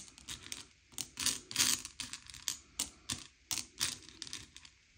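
Fingertips slide and push small, hard, sugar-shelled M&M's candy-coated chocolates across a pile on a grey plate, sorting them by colour. Bright, dry clicks and rattling clatters come in quick bursts as the candies knock against each other and the plate. Each tick is sharp and dies away almost instantly.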